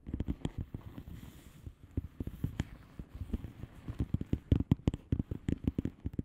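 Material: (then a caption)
Plastic. Long fingernails of both hands tap a flat blue plastic bubble wrap padded envelope with air-filled bubbles. About 25 quick, soft, dull taps land in an uneven rhythm. They are mostly low and muffled, with a faint bright click on some taps and almost no ring after each one.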